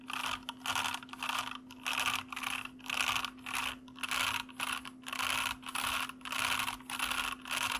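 Both hands type with bare fingertips on a full-size white plastic mechanical computer keyboard with hollow keycaps, which sits on a desk with a foam wrist rest in front and a recorder above. Rapid bursts of bright, clacky key presses and clicks come in uneven waves. A faint steady low hum runs underneath.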